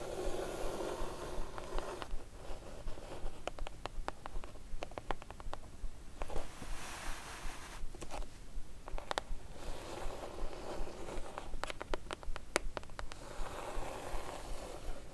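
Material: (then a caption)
Cardboard. Long nails scratch and tap along the lower edge and sides of the lid of a closed, hollow brown kraft cardboard box. Soft, papery scratching runs throughout, broken by quick, dry taps that click sharply and die away almost at once, leaving a low, hollow rumble underneath.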